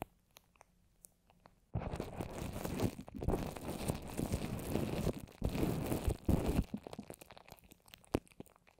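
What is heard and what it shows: A microphone wrapped in plastic and covered with wet white paper mache strips, forming a fist-sized rounded dome over the solid mic, is tapped and scratched with long orange acrylic nails. A few soft, sparse taps give way to a dense, crunchy, crackling scratching that runs loud and low-heavy for several seconds. It then thins back into scattered muffled taps.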